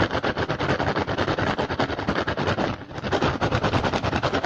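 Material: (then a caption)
Rattan. Fingertips and short nails of both hands rapidly tap and scratch the weave of an upturned, hollow, empty woven rattan basket. The result is a fast, steady stream of dry, crackling, woody clicks and scrapes with a hollow body, easing off briefly before resuming.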